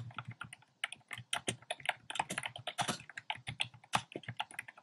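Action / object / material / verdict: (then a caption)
tap / plastic mechanical keyboard / plastic / none. Dense, fast fingertip typing on a compact plastic mechanical keyboard with round pastel plastic keycaps in a dark frame. About 29 quick, bright clacks run close together with short decays and a light low thump under each stroke, pausing briefly near the one-second mark.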